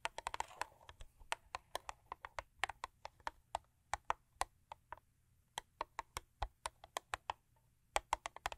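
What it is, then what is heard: Paperboard box tapped with fingernails. Long acrylic nails, with rings on several fingers, tap and scratch the top of a closed, long thin purple Crest paperboard toothpaste box lying on fur. About 38 quick, dry, bright clicks come in uneven bursts with brief pauses, with a soft scratchy rustle at the start. Each tap dies away almost at once.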